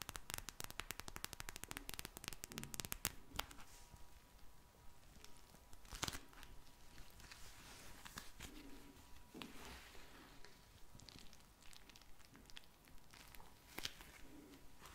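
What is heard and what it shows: A small, soft pink eye mask with a clear vinyl front filled with gel beads is held in the hand and tapped and scratched with long painted nails. A quick burst of dense, crackly tapping comes first, then softer scratching and crinkling with occasional sharp, bright taps. The sounds are quiet and close.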